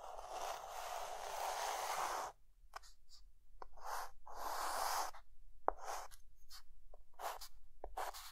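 A white chalk stick held in the fingertips is drawn across a flat dark green chalkboard to draw lines. A long, steady gritty scratch is followed by a run of shorter, uneven strokes. The sound is a dry, papery rasp centered in the midrange with a bright hiss, and there are brief pauses between strokes.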